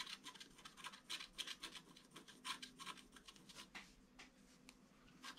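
A wooden stylus scratches the petals of a red flower into a flat, black-coated scratch-art card. Quick, dry, bright scratching strokes come in an irregular run of short bursts, with almost no low end. The overall level is quiet.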